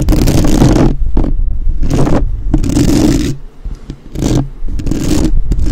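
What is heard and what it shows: Long nails tap and scratch the metal mesh grille of a black, uncovered microphone, first with one hand and then with both. Rapid, irregular bursts of scratchy, bright rasping come over a heavy low thump and rumble, with a brief quieter stretch in the middle before the scratching swells again.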